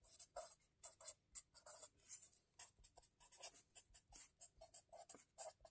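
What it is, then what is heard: Felt-tip marker writing on notebook paper. A hand writes continuously with a felt-tip marker on the lined paper pages of a spiral-bound notebook resting on a table, scratching the tip across the paper. The result is a steady run of short, quiet, bright, hissy strokes with a soft midrange squeak, each fading quickly.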